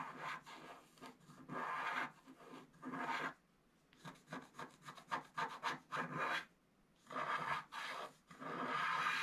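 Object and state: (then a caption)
Scratch art card scratched with a wooden stylus. A wooden stylus scratches long strokes along the right border of a flat scratch art card of black coated paper. It makes dry, raspy scraping bursts in the midrange with some bright hiss, coming in quick strokes. Brief near-silent pauses fall around 3.5 and 6.8 seconds.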